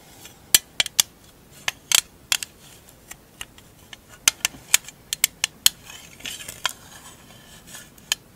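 A small rectangular printed metal marbles tin is held in both hands and tapped on the lid with long acrylic nails. There are about 18 sharp, bright clicks with almost no low end, each dying away at once with no ring. The taps come in uneven bursts, some doubled, with faint rubbing between them.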